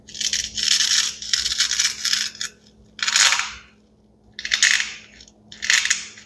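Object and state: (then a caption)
Plastic toy pea pod with velcro fastening. A small hollow green plastic toy pea pod, cut into two halves joined by white velcro pads, is held in both hands with the fingertips while the halves are pressed together and pulled apart. Bright, raspy velcro rips and plastic rubbing come in bursts: a long run of tearing at first, then shorter separate pulls with quiet gaps between them.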